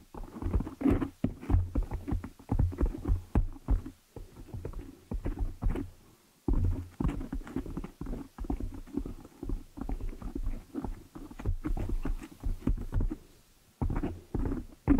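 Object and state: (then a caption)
Foam microphone windscreen. Fingertips and long nails rub and scratch a large black foam cover on a microphone. The result is dense, muffled, low-pitched rustling and scratching in quick bursts, broken by a few short pauses.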